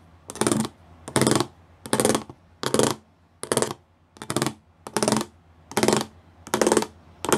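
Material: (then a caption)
Plastic. Fingertips and nails tap across a flat grey plastic sheet covered in rows of small raised square pyramid studs. The result is a steady run of short, bright, clicky rattling bursts, each lasting under half a second, with brief quiet gaps between them at a roughly even pace.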